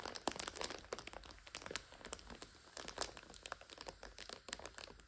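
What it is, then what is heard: Plastic multipack of instant noodles being crinkled. A full plastic multipack of instant noodles stands on its end while hands grip and squeeze it and nails scratch the crinkly film. The result is a dense run of sharp, bright crinkles and crackles that stop dead, over a quiet background with very little low end.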